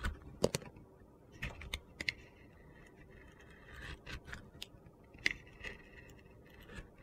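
A utility knife blade shaves thin slices off a solid orange soap bar with a pink glitter layer, held in the hand. Quiet, scattered crisp scraping cuts with short bright rasps stand out against a low background hush, each one dying away almost at once.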